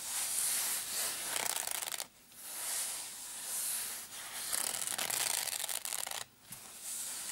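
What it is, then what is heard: Nylon padded case being scratched. Short painted nails scratch and rub the fabric surface of a small black padded nylon zip case. The result is a steady, bright, hissy scraping with almost no low end, broken by two brief pauses.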